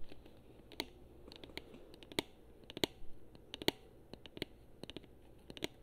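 Long nails tap and scratch across the front and buttons of a hollow gold chrome plastic Xbox controller held in both hands. About twenty sharp, dry clicks land at an irregular pace over a soft, steady scratching hiss. Each click is bright and hollow with almost no ring, and the whole clip stays quiet.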